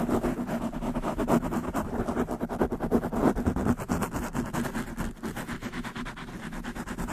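Both hands quickly scratch long manicured nails across the black foam windscreen on a large black condenser microphone. The result is a dense, fast, steady run of rough, muffled scratching with a warm, low-mid body. It dips briefly just after five seconds, then continues slightly softer.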